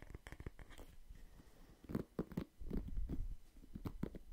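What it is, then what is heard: Wooden paddle hairbrush. A wooden paddle hairbrush with pink-white plastic bristles is turned between its wooden back and bristle side while fingertips scratch the bristles and tap the solid wood back. The result is a quiet, close series of short dull taps and soft scratchy rustles, mostly low in tone with little ring.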